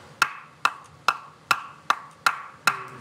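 Pieces of undried firewood are knocked together seven times, giving short, dull, muffled knocks that die away quickly. The dull tone indicates the wood has not dried.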